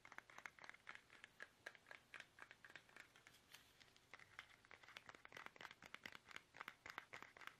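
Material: Plastic.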